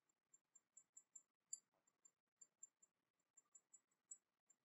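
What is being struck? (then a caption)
Small porcelain teapot. A small, hollow, painted porcelain teapot with a dragon motif is held in the hands and tapped with long painted nails. Fifteen quiet, sharp, high-pitched clicks with no ring come in an uneven rhythm, with faint rustling between them.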